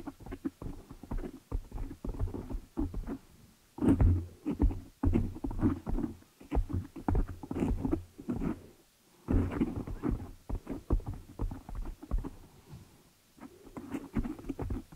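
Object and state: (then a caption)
Foam microphone windscreen. Long nails tap and scratch the black foam windscreen covering a desktop microphone. The result is dense, muffled, bass-heavy thumps and rustling scrapes that come in fast flurries, broken by brief pauses.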